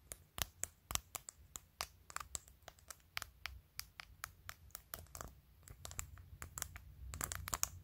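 Long acrylic nails tap and scratch a clear glitter plastic phone case, fitted on a phone and covered in glued-on matte acrylic press-on nails, moving over the case, the camera lens area and the top edge. Sharp, bright clicks come in a quick, uneven stream over a soft scratchy hiss and a faint low hum, each tap dying away almost instantly.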